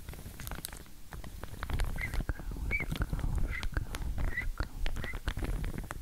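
Long nails scratch and flick the teeth of a pink wide-tooth plastic comb, still in its clear plastic sleeve and held in one hand. The result is a dense, steady run of dry clicks and crinkly plastic rustle over a low rumble, with short squeaky chirps recurring throughout.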